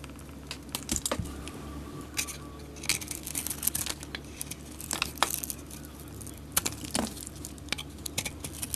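A solid white bar of soap with remains of a gold coating is held in the hand and scraped and carved with a utility knife blade. Short, crisp, bright scraping and cutting ticks come in irregular bursts over a steady low hum.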